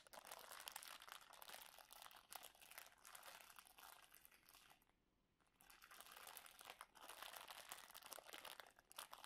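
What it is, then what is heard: Plastic-wrapped cookie roll, full. A long roll of stacked round cookies sealed in clear plastic film lies solid and full on a towel while fingertips and flat hands tap, rub and press the wrapper. The result is a dense, bright crinkling with quick crackles. It drops to a brief near-silent pause around the middle before the crinkling resumes.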